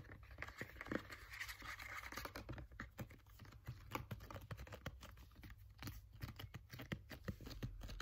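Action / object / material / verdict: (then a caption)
scrape / plastic pump bottle of gel / plastic / none. Fingernails tap and scratch a green translucent plastic pump bottle of aloe vera gel, partly full and wrapped with a paper label. Quick, quiet, dry clicks and short scratchy rasps follow one another in an uneven, continuous patter over a steady low hum.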